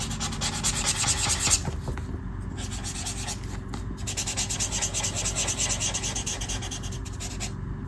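A black brush marker held in the fingers rubs and scratches dense strokes across a mandala on a flat sheet of white paper in a colouring book. The sound is a steady, bright, scratchy rasp over a low rumble, with the rapid strokes overlapping into a continuous rubbing texture that peaks briefly near the start before easing slightly.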